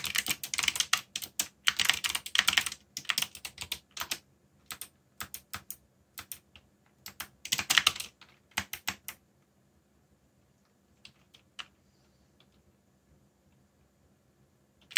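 Fingertips type on the plastic keycaps of a black backlit mechanical keyboard, producing rapid bursts of bright, sharp clicks with almost no low end. The typing comes in quick runs for about nine seconds, then stops, leaving near-silence broken by a few isolated keystrokes toward the end.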